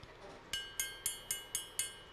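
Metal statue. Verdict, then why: Real. Six bright, high pings with clear ringing tones, the clean ring expected of a solid silver statue.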